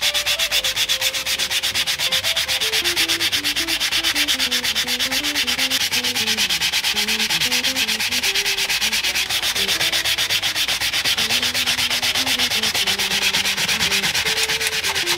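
Gloved hands rub a sanding or polishing pad back and forth across the exposed metal fret wires of a taped Fender American Acoustasonic Jazzmaster neck resting on a bench. The result is a dense, steady, bright scratchy hiss at an even level, with faint wavering tones drifting underneath.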